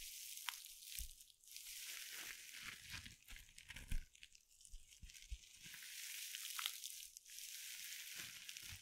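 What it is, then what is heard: Mesh scrub sponge. A small, soft glitter mesh scrub sponge wrapped in sparkly synthetic mesh is crushed and scratched with long nails just above the mic. It makes a steady bright, hissy crinkling and scratching, broken by soft low thumps and pops as the sponge is squeezed.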